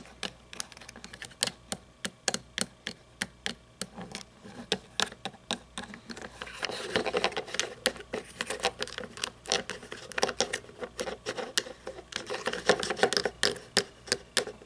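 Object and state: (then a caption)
Plastic toy monster truck. Long painted nails tap and scratch a small plastic toy monster truck with chrome parts, which is later turned upside down to expose its chrome plastic chassis. A steady run of sharp, bright clicking taps with very short decay continues throughout. Denser scratching rasps fill the middle and the later stretch.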